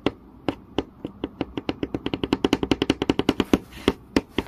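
Long fingernail tips tap fast on a flat, solid wooden board with visible grain, giving 29 short, dry clicks with a woody low-mid body around 280 Hz and a bright edge. The taps start sparse, speed into a quick run in the middle, then thin out again, each dying almost at once.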